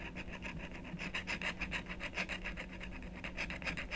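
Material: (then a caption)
Coated card. A wooden stylus rapidly scratches and rubs the coating off a thin, solid black-coated scratch-art card resting on a wooden table. Quick, dry rasping strokes repeat at a brisk, uneven pace, each a short bright scrape over a faint, steady low hum.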